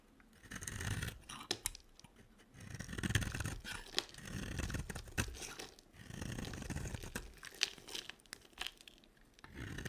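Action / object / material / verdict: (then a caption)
scrape / bar of soap / soap / none. A solid, hand-sized, red-edged yellow dry soap bar is carved and scraped with a box cutter blade, shedding crumbly flakes. The blade makes dry, crunchy scraping strokes that swell and fade, with a dull low body and bright crackle, punctuated by sharp clicks as flakes snap off.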